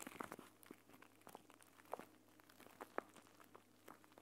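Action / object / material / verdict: scrape / plastic pouch filled with gel beads / plastic / none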